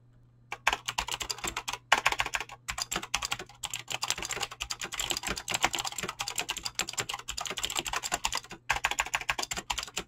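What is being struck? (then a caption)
Mechanical keyboard with plastic keycaps. Fast typing by fingertips with short painted nails on a full-size mechanical keyboard with Razer green clicky switches and pink-blue PBT plastic keycaps, resting on a desk. A dense run of sharp, bright clicks and clacks goes on for about ten seconds, with a low steady hum underneath and a few brief pauses.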